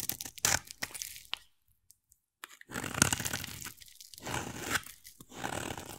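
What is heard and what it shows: A utility knife blade scrapes and carves a solid, hand-sized oval bar of white soap, shaving off white curls. Bright, crunchy scraping and tearing bursts come in uneven strokes, broken by a brief silent pause before the carving resumes.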